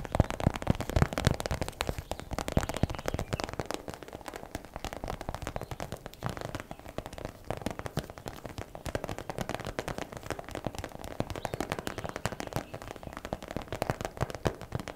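Long black nails tap and scratch fast on a transparent plastic zip pouch full of purple and blue plastic velcro hair rollers. A dense, continuous stream of quick crackling clicks and rustles runs steadily for the full fifteen seconds, each tap short and dry with no ring.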